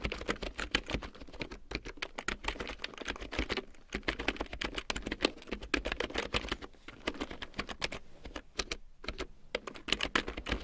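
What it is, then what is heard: Plastic keyboard being typed on. A full-size large print keyboard with a black plastic frame and big yellow plastic keycaps, lying on faux fur, is typed on with long painted nails and fingertips. A steady run of quick, sharp plastic clicks and taps with bright clatter and very short decay continues throughout, with brief pauses between bursts.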